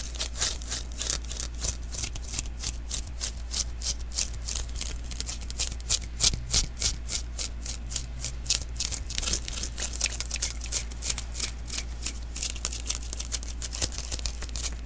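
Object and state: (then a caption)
Sticky lint roller refill being patted. Fingers pat and tap the tacky surface of a small, hollow sticky lint roller refill (an adhesive paper roll) held in the other hand. Rapid, slightly uneven bursts of bright, crackly peeling and sticking sound each snap off quickly. They sit over a steady low hum throughout.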